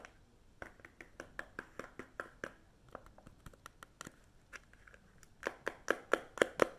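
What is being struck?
Small paperboard chewing gum pack.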